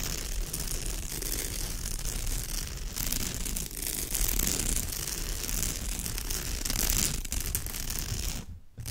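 Long fingernails scratch quickly across the surface of a woven straw bag. The result is a dense, continuous crackling and rasping texture with bright, hissy highs over a rough low rumble. It holds a steady level until a brief drop to near silence just before the end.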